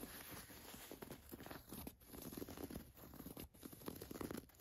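Long nails scratch the gold watch print and raised embroidered lettering on a black printed cotton t-shirt. The result is a quiet, continuous run of dry scratchy rasps and crinkly scrapes with low rubbing underneath.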